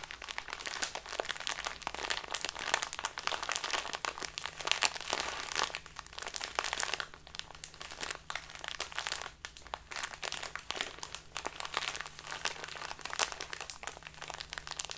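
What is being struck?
Small plastic bag of loose tea.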